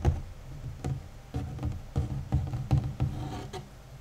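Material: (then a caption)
Cardboard. Short nails and fingertips of both hands tap and scratch the large, flat, hollow cardboard lid of a 1000-piece jigsaw puzzle box, which lies on top of the assembled puzzle. About eight dull, low, hollow thumps with almost no ring stand out against a soft scratching rustle.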